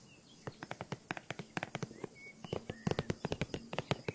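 A green faux leather handbag with a croc-embossed surface and a top handle, hollow and held close, is tapped and scratched with long nails on its front panel. Quick, crisp taps ring out in a steady, uneven rhythm over a soft hiss, with faint high chirps from birds in the background.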